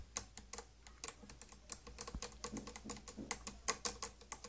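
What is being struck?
Plastic case lid.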